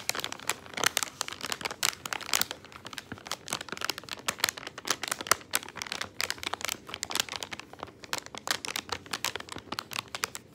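A small, colorful plastic candy bag partly full of gumballs lies on a wooden table while fingertips press, rub and crinkle it. Dense, bright crinkling crackles continue for the whole clip, dominated by high frequencies. A faint rattle from the gumballs inside may be heard.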